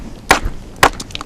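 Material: Flint.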